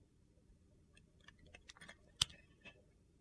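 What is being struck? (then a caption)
Glycerin soap bar. A hand-held, hand-sized solid translucent glycerin soap bar with purple and teal chunks is sliced and shaved across its surface with a metal utility knife blade. Faint, crisp, high-pitched clicks and scrapes sound over a quiet background, with one sharper snap standing out near the middle.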